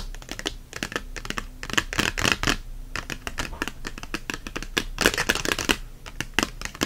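An herbs paperback with a glossy card cover lies open and face-down like a tent while both hands scratch and tap its cover and spine with fingernails. The result is a dense run of quick, dry, bright clicks and scratchy rasps with almost no ring, swelling and thinning in irregular bursts.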